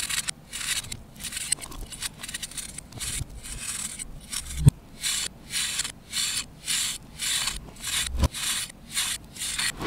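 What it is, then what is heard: Compressed chalk block scraped. An orange-handled knife scrapes across a solid disc of compressed pale green baking soda or chalk powder held in the hand over a bowl, shaving off crumbly powder. Bright, dry rasping strokes repeat in a steady rhythm, growing more distinct and evenly spaced in the second half. Two sharp low knocks cut through along the way.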